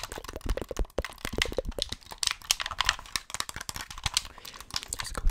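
Fingertips tap and click the buttons and triggers of a hollow white plastic Xbox gamepad held in both hands near the mic. A rapid, uneven run of short, dry plastic clicks is heard, each with a bright snap over a low hollow thump and no ring.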